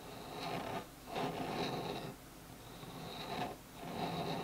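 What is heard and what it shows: Fingertips and nails scratch along the wood grain of a small solid bamboo phone stand lying on a table. Soft, continuous rasping swells and fades in strokes, with a quiet broadband hiss and a faint bright edge.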